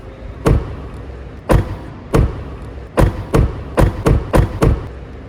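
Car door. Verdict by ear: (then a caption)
Solid. The door of a new Tesla Model 3 (Highland) is closed nine times, each producing a short, deep thud with little ring and no high metallic clack. It sounds solid because the door is heavier and has more sound-deadening material.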